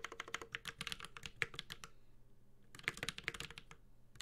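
A Space65 Cybervoyager 65% mechanical keyboard with a metal case, carbon fiber plate, GMK ABS plastic keycaps and Holy Panda tactile switches is typed on continuously with the fingertips of both hands. Rapid, bright, short clacks come in quick bursts, with a brief quieter pause in the middle before the typing resumes.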